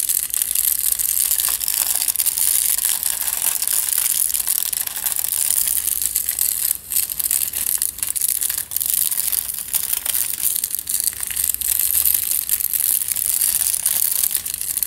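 Fingertips squeeze and rub a tube wrapped in crumpled aluminium foil, held horizontally. The result is a dense, nearly continuous stream of bright, high crushing crinkles with almost no low end, broken by a few brief dips around seven and nine seconds.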